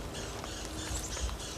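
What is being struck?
Nothing is struck.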